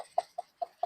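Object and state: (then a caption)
Ripe pumpkin, hollow knock. Four quick knocks on a ripe pumpkin, the only one left in the garden after a hurricane, each giving a short, hollow, mid-pitched thud that dies away almost at once. The hollow sound shows the pumpkin is ready to harvest.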